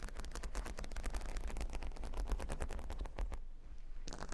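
Fingernails tap and then scratch across a square cork board covered in a grid of plastic faux-pearl beads. The result is a rapid, dense run of quiet, sharp clicks with bright ticks over a low rumble. It pauses briefly near the end before a few more taps resume.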